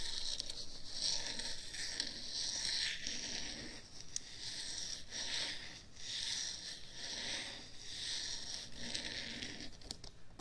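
Long acrylic nails continuously scratch and rub the white silicone ears and the top of the black plastic and foam body of a hollow, head-width binaural ear microphone. The result is a steady, bright, papery scratching and rustling that swells and fades in slow waves over about ten seconds.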